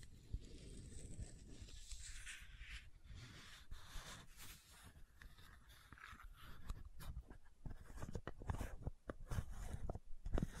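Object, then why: Plastic screw cap on a bottle. Long nails scratch and tap the white plastic screw cap of a supplement bottle. Soft, dry scraping gives way to a run of sharp, clicky taps that grow louder toward the end.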